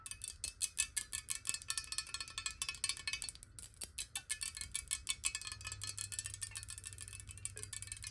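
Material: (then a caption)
Glass. A clear, hollow square glass water bottle, partly filled with water and held in the hands, is tapped rapidly with long nails. The result is a fast, steady stream of short, bright glassy clicks that die away almost instantly, with a ringing tone around 2.6 kHz. A faint low hum sits underneath the taps.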